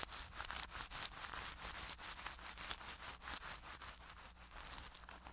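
A makeup brush is rubbed side to side over clear plastic cling wrap covering a microphone head, producing a dense, bright crinkling and rustling in quick, uneven strokes. A faint low hum runs underneath throughout.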